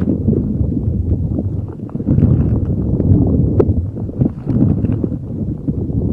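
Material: Rubber.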